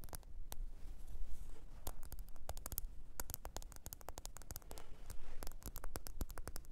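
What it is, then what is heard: Smartphone back tapped with nails. Long pointed nails tap and scratch the glossy back, possibly glass, of a small, thin, solid black smartphone held upright on its edge with its back facing out. Many quick, dry, bright clicks come in irregular bursts, each dying away almost instantly. Soft scratching and a faint low rumble sit underneath at a quiet level.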